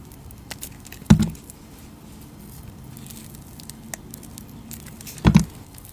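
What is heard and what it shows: A utility knife blade cuts facets into a palm-sized bar of solid pink translucent glycerin soap held in long teal nails. Two soft, low, dull carving strokes stand out, each with a brief scraping crackle, over a quiet bed of faint ticks and light scratching. Each stroke stops almost at once with no ring.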